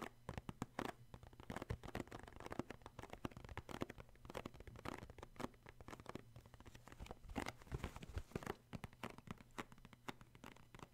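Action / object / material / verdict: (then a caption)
tap / cardboard tissue box / cardboard / none. Fingertips tap and grip the sides of a rectangular cardboard tissue box full of tissues. The result is a quiet, rapid patter of short, dry taps with scratchy rustles between them, plus a faint steady low hum underneath.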